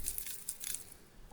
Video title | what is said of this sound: Faulty Outdoor Solar Light - Qubits Tech | you can hear there's definitely some dirt or something inside there some of which just found its way out